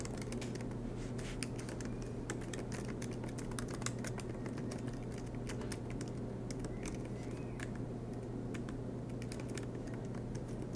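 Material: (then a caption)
Plastic. Fingertips of both hands tap the black plastic low-profile keys of a silver MacBook Pro laptop keyboard in an aluminum chassis, typing continuously. Soft, rapid clicks sit over a steady low hum with a faint tonal band near 117 Hz.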